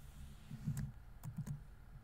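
Fingertips rapidly tap the plastic keys of a laptop keyboard on a grey laptop body while typing. The result is a quiet run of soft, low, muffled taps with faint bright clicks, each dying away quickly.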